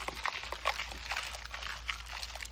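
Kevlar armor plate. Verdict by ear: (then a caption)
Loose. A level 3A armor plate with Kevlar layers, hit by a .308 round that did not go through, is shaken. Over 2.5 seconds there is a loose, bright rattling and clicking as the bullet and broken pieces of the front plate move around inside, with a steady low hum underneath. The plate is shattered and bulging at the back.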